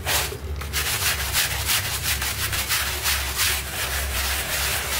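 A stiff bristle hand brush scrubs a small pink rug covered in soap foam on a tile floor. Bright, scratchy bristle strokes repeat at a quick, uneven pace of about three per second, over a steady low hum.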